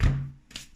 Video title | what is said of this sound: Gluten Free Adventures - Sourdough Bread! | it sounds hollow, which is good because that means that there is air inside of the bread